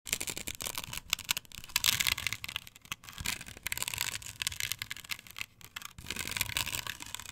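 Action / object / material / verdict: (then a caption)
scrape / plastic stencil glued to a wooden board / plastic / none. Long pointed nails scratch across a flat, perforated white plastic stencil with chevron cutouts, glued to a thin wooden board lying on a table. The result is a dense, bright, rasping scratch in quick, irregular strokes, with short gaps and alternating stronger and lighter passes.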